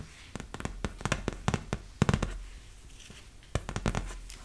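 Long nails tap quickly on the surface of a large, hollow, inflated yellow and blue PVC vinyl beach ball. They make a fast, irregular series of short, dry taps, each a crisp click over a dull low thump that stops almost at once. The tapping runs in bursts with a brief quieter pause in the middle.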